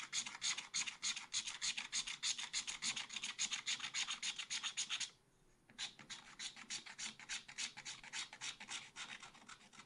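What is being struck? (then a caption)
Coated scratch art paper scraped with a wooden stylus. A wooden stylus scrapes rapid, repeated strokes across a black-coated scratch art paper page in a small spiral pad. Each stroke makes a bright, high, dry rasping scratch with almost no low end, in a steady rhythm of about three strokes per second. The scratching pauses briefly around the five-second mark, then resumes at a slightly softer level.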